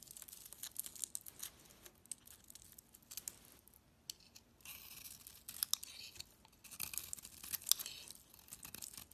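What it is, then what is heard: Bar of soap being carved. A utility knife blade scrapes and carves a solid cream soap bar with a purple printed coating, held in the hand, shaving flakes off it. The soft, dry shaving sounds are bright and crisp, coming in uneven bursts with tiny crackles and scratchy strokes. Brief quiet pauses separate them.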